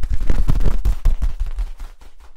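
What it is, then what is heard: Corrugated plastic tube being rubbed and tapped. Hands rub and tap the ridges of a hollow yellow corrugated plastic tube while flexing it. The result is a rapid, dense run of deep, boomy thumps and ridged rattles that gradually fade toward the end.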